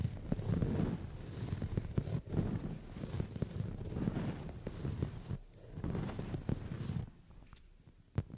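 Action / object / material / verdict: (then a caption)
scrape / padded leather sofa seat / leather / none. Long nails tap and scratch across a brown padded leather sofa seat. Continuous low, muffled rubbing and scraping is broken by sharp, short taps. The sound quiets near the end before one last crisp tap.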